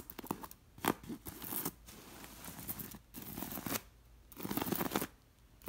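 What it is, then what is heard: Beaded linen pillow being scratched. Long nails scratch across a beige linen cushion embroidered with red and gold seed beads. Bursts of dry, rasping scratches with bright, crisp clicks from the beads come in several strokes, separated by short, quieter pauses.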